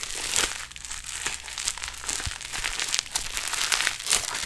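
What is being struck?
Foam-bead modelling clay.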